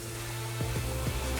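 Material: Nothing is struck.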